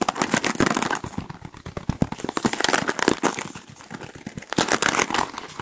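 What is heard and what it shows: Fingertips rapidly scratch and flick the multicolored plastic bristles of a black plastic paddle hairbrush held close to the microphones. A dense stream of sharp, dry plastic clicks and crinkly crackles runs throughout, with bright, brief transients and no ring after each flick. The activity comes in swelling bursts, louder at the start and again near the end.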